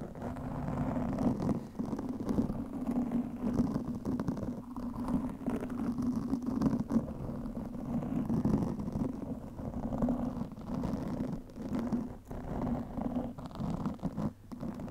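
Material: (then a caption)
Foam. Both hands scratch long nails across the soft, porous black foam windscreen on a microphone. The result is a continuous, dense, muffled scratching with a low rumbling body and a steady droning tone, dipping briefly now and then without real pauses.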